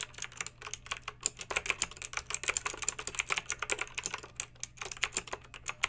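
Long pink acrylic nails type on a backlit plastic mechanical keyboard with round plastic keycaps. About 35 quick, bright clicks and clacks follow one another at an uneven pace, each short and sharp with almost no ring. A faint steady low hum runs underneath.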